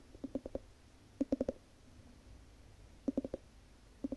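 Long nails tap and scratch the ribbed glass lid on a large wax-filled Yankee Candle jar. Quick bursts of about four dull, short clicks repeat with pauses between them, around 13 taps in all. The taps center near 270 Hz, ring very briefly, and sit over a quiet background.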